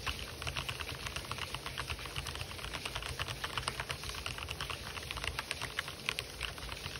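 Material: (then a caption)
Plastic. Fingertips type fast on an RGB-backlit mechanical keyboard with white and black plastic keycaps on hollow keys over switches. The result is a dense, rapid stream of short, bright plastic clicks and clacks over a steady low rumble.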